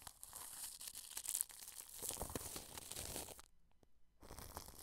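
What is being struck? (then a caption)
Plastic cling film wrapped over a microphone. A wide, flat paintbrush sweeps across plastic cling film wrapped around a microphone, making a bright, crinkling, tearing-like rustle with short crackles. The strokes run steadily, drop to a near-silent pause for a moment, then the rustling resumes.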